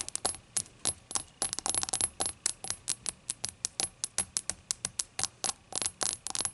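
A glass shot glass is tapped repeatedly, giving about thirty quick, bright clinks with high ringing tones. Each clink is short and sharp, spaced irregularly and sometimes bunched into fast runs, with quiet gaps between them.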